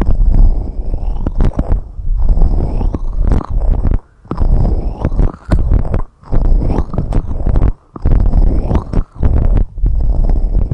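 Long red nails steadily scratch and tap on two white silicone rubber microphone ear covers. The result is a dense, muffled, low rumbling scrape with soft thumps and a few sharp clicks, broken by brief quiet gaps.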